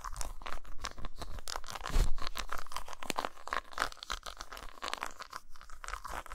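Long nails scratch and tap rapidly across the dotted, textured top of a solid, flat dark chocolate bar lying on a towel. The result is a dense, crunchy, crackling scratching with quick dry taps over a soft low thumping. The sounds are short and die away almost instantly.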